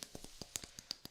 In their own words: So this right here is wood.